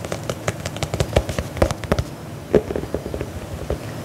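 A single black faux leather lace-up combat boot, hollow and empty, is held in one hand while fingernails scratch and tap along its side. The result is a quick, irregular series of dull, low-heavy taps and brief scratchy clicks, each dying away almost at once over a soft rustling background.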